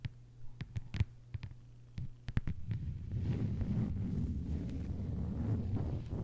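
Long white-polished nails on both hands tap a flat, thin, solid lime-green plastic cutting mat lying on a table. Sharp, dry clicks come first in scattered bursts over a steady low hum, then shift into dense, continuous, rumbling tapping for the rest of the clip.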